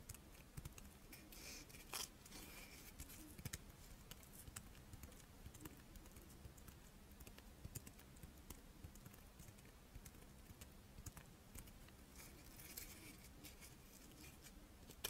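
A palm-sized, crisp rice-wafer monaka with chocolate filling is held and flexed while long painted nails scratch its surface, giving a steady stream of quiet, dry crackles and sharp ticking taps with bright edges. A faint low hum sits underneath throughout, and near the end the wafer is partly pulled apart.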